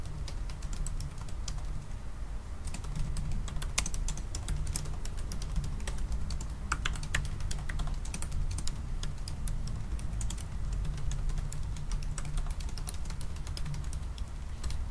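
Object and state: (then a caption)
Laptop keyboard with plastic keys. Both hands type a fast run of fingertip taps on the black plastic keys of a silver aluminium laptop with a closed, hollow body. The clicks are short and crisp over a steady low hum. The typing continues without pause for the whole clip.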